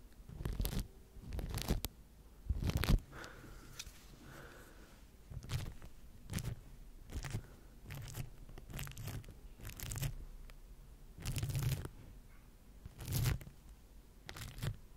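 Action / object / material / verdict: scrape / microphone covered in plastic wrap, brushed with bristles / plastic film / none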